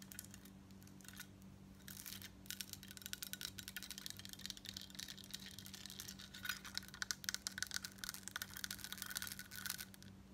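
Long coral nails tap and scratch the embossed surface of a large crescent-shaped, gold-tone metal statement bib necklace, a thin solid plate worn over a grey turtleneck. Quiet, bright, rapid metallic clicks and scratchy ticks come in dense bursts that grow busier in the second half. A faint steady low hum runs underneath.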